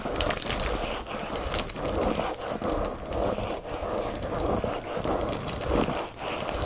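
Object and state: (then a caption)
Plastic-wrapped paper pad being scratched. Fingernails scratch quickly over a flat pack of watercolor paper in a thin, glossy black plastic sleeve lying on a blanket. The result is a steady, crinkly scraping hiss with bright crackles, full in the midrange and briefly dipping between strokes.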